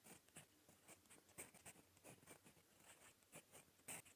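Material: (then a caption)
Paper. A gold metal fountain pen nib writes in red-brown ink on a smooth lined paper notebook page, scratching lightly across the surface. The clip is quiet, with a series of short, bright, scratchy strokes separated by soft pauses.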